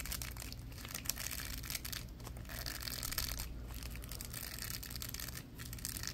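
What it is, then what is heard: Plastic bristle brush. Latex-gloved fingers scratch and flick the bristles of a small purple plastic block with bristles and ridges. The result is a dense, continuous run of quick, crackly scratching with a bright, hissy edge over a steady low rumble, staying at an even, quiet level throughout.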